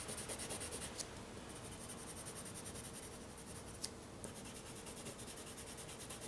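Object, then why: Pencil on drawing paper. A white pencil shades and scratches on black drawing paper laid on a flat board while sketching the Millennium Falcon. Quiet, rapid, short repeated strokes make a steady dry scratching with a bright hiss. Two sharper ticks stand out partway through.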